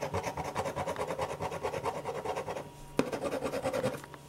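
A black pen tip scratches and rubs across a single thin, flat white paper sheet on a desk in dense shading strokes, making a fast, steady rasping rhythm. The strokes pause briefly, a sharp tap sounds, and the scratchy shading resumes before fading slightly at the end.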